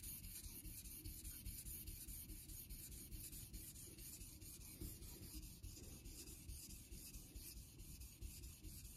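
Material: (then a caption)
Synthetic stone. A vintage Geneva Cutlery steel straight razor is honed on a wet, solid light-blue rectangular synthetic Naniwa water stone clamped in a holder, its blade rubbed across the surface in repeated strokes. The result is a quick, steady, rhythmic scraping, heaviest in a low rumble, with a thin bright hiss on top.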